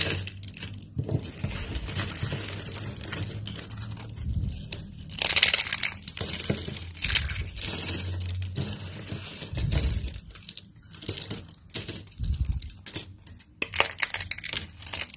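Pink-nailed fingertips crumple and crush a pile of thin, dry, translucent amber soap shavings (flat strips) on a light table, breaking the brittle strips into smaller flakes. Dense, bright crackling and crunching come in waves, with quick crisp snaps over a low, soft rumble. The louder bursts rise around the middle and near the end.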